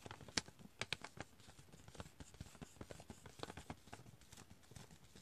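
Fingertips and nails scratch and crinkle the printed surface of a partly full chicory pouch, a foil-lined plastic coffee bag. Soft, dense scratching runs throughout, broken by sharp, bright crinkles that crackle and die away almost instantly. The overall sound is quiet and close.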